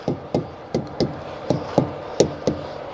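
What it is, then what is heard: Properly inflated truck tires. A maple and walnut tire thumper with a steel rod core strikes a set of rubber truck tires eight times in quick succession. Each hit is a short, dull, low thud with almost no ring. Every strike sounds the same, so the tires are properly inflated and none are low or hollow.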